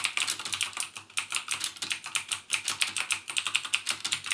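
Fingertips type steadily on a full-size backlit mechanical keyboard with plastic keycaps and Cherry MX Blue clicky switches. About thirty sharp, bright clicks come in a quick, uneven rhythm, each dying away almost at once, with almost no low-end body.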